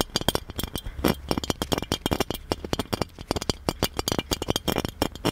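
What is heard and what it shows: Fingertips and nails tap and scratch the embossed relief surface of a hollow gold metal genie lamp, close up. A rapid, irregular series of short, bright metallic clinks with a faint ring near 3.2 kHz is heard, each dying away almost instantly. Soft scratchy rustles fill the gaps between the taps.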